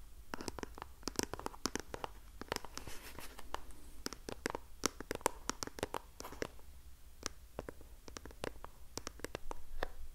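Long painted nails scratch and tap the printed face of a small pink cardboard box of facial sheet masks held upright close to the mic. Many sharp, dry clicks and taps follow one another quickly across the clip over short scratching strokes. There is a faint low hum underneath.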